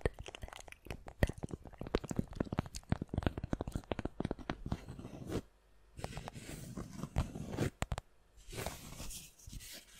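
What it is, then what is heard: Cork coaster. A round, flat, solid palm-sized cork coaster is held in front of the microphone and scratched and tapped with long nails and fingertips. A dense run of quick, dry, crunchy taps fills the first five seconds, with most of the energy low and little brightness. After a short pause come rougher scratching bursts broken by brief silences.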